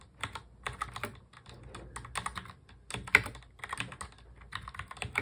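A full-size black plastic mechanical keyboard is typed on quickly with the fingertips of both hands. Dense, bright clicky keystrokes follow one another in rapid bursts, each tap short and crisp with almost no ring.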